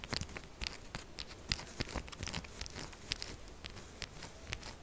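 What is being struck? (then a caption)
Soap bar. A solid purple soap bar held upright is scratched quickly with long acrylic nails. The result is a steady run of dry, crunchy scraping with short bright clicks scattered throughout, over a faint low rumble.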